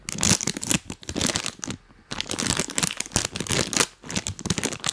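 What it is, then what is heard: Plastic snack bag crinkled. A full printed plastic cookie bag is held close and rubbed and crinkled with rubber toy hands worn on the fingers. Dense, bright crackling and crinkling comes in quick bursts with short quiet gaps, including a near-silent pause around the two-second mark.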